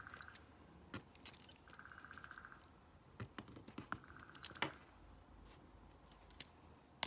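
A stone face roller is rolled by hand over the colored rubber buttons of a flat, hollow plastic LED remote control, clicking them. Quiet, sharp, bright clicks and taps come at irregular intervals, with soft rolling stretches in between that carry a faint steady tone.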